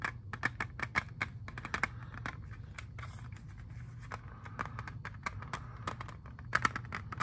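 Fingernails and fingertips tap a hand-sized, hollow, clear plastic jewel case holding an Xbox 360 disc. Quick, bright clicks with almost no ring come in a rapid, irregular stream over a low steady hum, with a tight cluster of sharper taps near the end.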